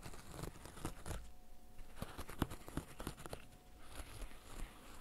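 Fingertips in black fishnet gloves press and pop the hollow bubbles of a flat, green, bird-shaped silicone pop-it fidget toy. Repeated soft, dull pops with a low thump come through, mixed with light crinkly, rustling scratches and a faint steady hum underneath.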